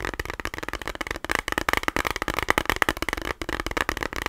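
Fingernails tap rapidly on a small rectangular plastic eyeshadow palette with a clear lid and a hollow case. The result is a fast, uneven stream of short, dry clicks with a hollow, slightly pitched plastic tick around 1–2 kHz that stops almost instantly after each tap.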